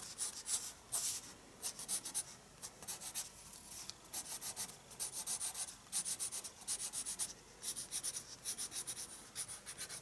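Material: Paper.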